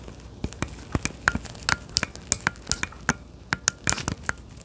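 Gloved fingers tap and press the buttons on a hollow, handheld-size plastic Joy-Con grip for a Nintendo Switch, held close to the microphone. A rapid series of short, dry clicks and taps sounds over quiet hiss, each with a bright crackle and a faint tone near 1.5 kHz, dying away almost instantly.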